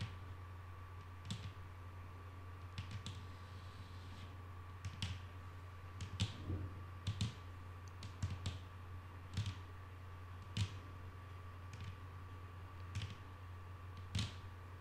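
Long nail tips tap slowly on a flat, solid wooden tabletop, making about twenty short, dry, bright clicks that stop at once with no ring. A steady low hum and a faint constant tone run underneath the whole time.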